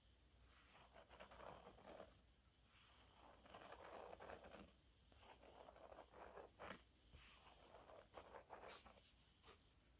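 Fingernails scratch and rub slowly over the dotted surface of a yellow waffle-textured cleaning cloth lying flat. Soft, dry scratching and rustling comes in uneven, swelling passes, with brighter crisp scrapes standing out now and then. It stays quiet throughout.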